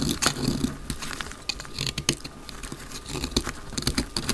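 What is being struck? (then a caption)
Bar of soap. A solid, palm-sized dry white soap bar held in the hand is shaved into flakes with a utility knife blade. Quick, dry scraping and crisp cutting sounds come in a rapid, irregular series of short strokes, with bright edges and a soft low rumble underneath.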